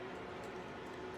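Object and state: Nothing is struck.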